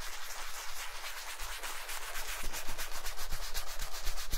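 A wooden-handled brush scrubs the toe and vamp of a black leather Chelsea boot worn on a foot and covered in white cleaning foam. The result is a steady, bristly rubbing and scratching in quick repeated strokes, a little under four per second. It grows louder and brighter in the second half.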